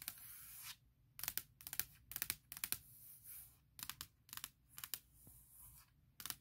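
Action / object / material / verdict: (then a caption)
tap / aluminum laptop lid / aluminum / none. Long nails tap on the lid of a closed, large MacBook Pro near the logo, its hollow aluminum shell giving back crisp, bright clicks in quick clusters. Short scratchy hiss-like passages sit between the taps, and each click dies away almost instantly.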